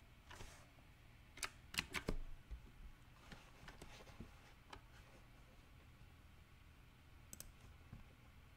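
Fingertips type on a compact backlit mechanical keyboard with round black plastic typewriter-style keycaps on a silver frame. Irregular, sharp, bright clicks and taps of the switches come in scattered bursts over a low background hum. The typing is clustered near the start and thins out later.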